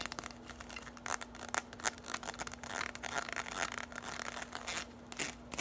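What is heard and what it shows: Long nails tap and scratch quickly along a bundle of hollow orange plastic straws. The result is a stream of dry, bright clicks and crinkly scrapes that stop instantly with no ring, over a faint steady low hum.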